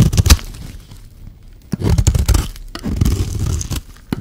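A solid oval red bar of soap is scraped with a metal knife blade, and flakes fall onto a pile of shavings. Low, dull scraping and crumbly rasps come in bursts with sharp clicks between them, quiet in the middle and louder toward the end.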